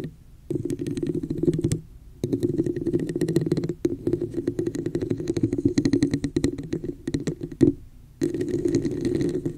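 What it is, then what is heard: Plastic cup tapped and scratched. Long nails rapidly tap and scratch the outer surface of a hollow, red, textured plastic cup placed over the microphone. Dense bursts of clicky taps and scraping have a muffled, hollow mid-low resonance, broken by a few brief silent pauses.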